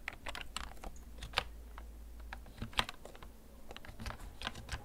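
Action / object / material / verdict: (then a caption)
tap / plastic computer keyboard / plastic / none. Fingertips slowly tap the keys of a hollow, backlit plastic gaming computer keyboard that is held and tilted. The result is a string of short, dry clicks at an uneven pace, each with a bright, high edge that dies away almost instantly. A steady low rumble sits underneath.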